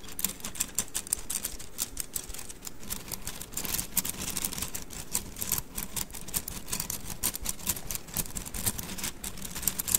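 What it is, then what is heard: Bundle of wooden mikado sticks. A bundle of thin painted wooden mikado sticks is held horizontally in both hands over the mic and rolled and rubbed between the fingers, so the sticks click against each other. The result is a steady stream of rapid, dry, bright clicks with very short decay over a soft low rustle, continuing for the full ten seconds.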